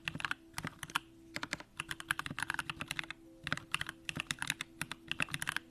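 Continuous two-handed fingertip typing on a compact Bakeneko65 mechanical keyboard with an aluminum case, Durock lavender switches and pink plastic keycaps. Quick bursts of short, bright, clacky key presses come in uneven runs with brief pauses, each stroke dying away almost instantly. A faint steady low hum sits underneath.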